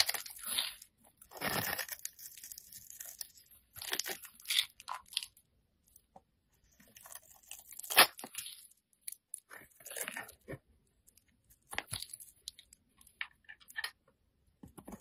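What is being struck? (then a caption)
Bar of soap cut with a knife blade. A metal utility knife blade scrapes and cuts thin strands from the surface of a solid yellow, hand-sized rectangular bar of soap held in the fingers. Soft, dry crunching and shaving sounds come in short bursts separated by quiet pauses. The sound is bright and crisp, with almost no low end.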